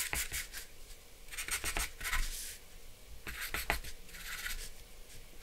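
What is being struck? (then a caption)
Charcoal pencil on drawing paper over a board. A black charcoal pencil scratches short strokes around the drawn glasses on a flat sheet of white drawing paper resting on a dark board. Bright, dry scratching comes in quick repeated bursts of hiss throughout, with quieter pauses between groups of strokes.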